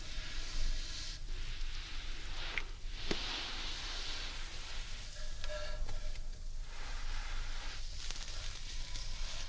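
Hands and fingertips rub and stroke the outside of a large, hollow carved wooden bowl held upside down. The result is a steady, hissing, rustling friction with a low, hollow rumble underneath, and a few slightly sharper brushes stand out along the way.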